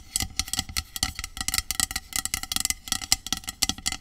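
Long acrylic nails tap and scratch the metal body of a hollow, medium aluminum dry shampoo aerosol spray can lying on its side. Quick, dry clicks and scrapes follow in a busy, irregular stream, bright and high with very short ring and only a little low thump.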